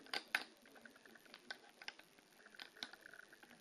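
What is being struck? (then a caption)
Stacked plastic poker chips. Long polished fingernails tap and scratch the tops and edges of two short stacks of colored plastic poker chips, solid discs resting on a fabric-covered table. Quiet, bright clicks and ticks come in an irregular patter, with a few sharper taps standing out among soft scratching. Each tap dies away almost at once, and there is no low-end body.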